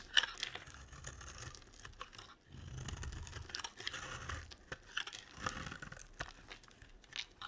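A utility knife blade carves a solid translucent yellow glycerin soap bar. Quiet, dry scraping and crisp crunching strokes come in short bright bursts, with a faint low rumble underneath between cuts.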